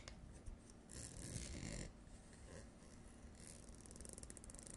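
Long nails scratch along the ribbed rim of a blue plastic screw-on jar lid held on its edge, making a soft, dry rasping over a low background rumble. The scratching swells into a louder, brighter sweep partway through, then falls back. It ends in a rapid run of fine ticking clicks as the nails ride over the ribs.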